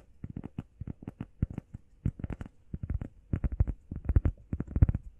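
Long painted nails and fingertips tap and scratch quickly on a flat, solid, hand-sized grey textured EVA foam workout pad shaped like a heart. The result is a rapid, uneven run of dull, muffled, low thuds, each dying away almost instantly with no ring, over a faint soft scratching.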